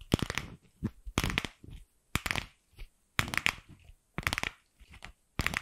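A single light pink, palm-sized hollow plastic ball is held in the hand and tapped and scratched with long pink acrylic nails. Quick clusters of sharp, bright clicks and scratchy rasps come in bursts about once a second, with quieter scraping between them.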